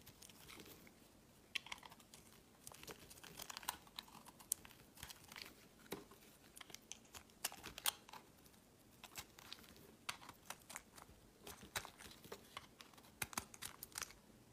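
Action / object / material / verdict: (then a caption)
scrape / solid bar of soap / soap / none. A metal utility knife blade shaves along the flat face of a solid, hand-sized, pale green bar of soap, dropping thin flakes onto a mat. The clip is a quiet run of crisp, crinkly scraping strokes with sharp, bright clicks and crunches between short pauses.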